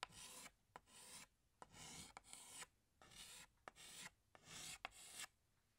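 A hand scratches a green chalk stick across a large flat black chalkboard while drawing leaves. Short bursts of bright, dry, raspy scraping alternate with brief quiet gaps, punctuated by sharp little clicks as the chalk taps onto the board.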